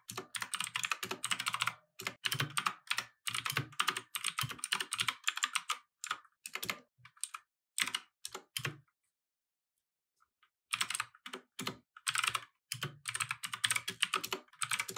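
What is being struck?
Mechanical keyboard with plastic keycaps.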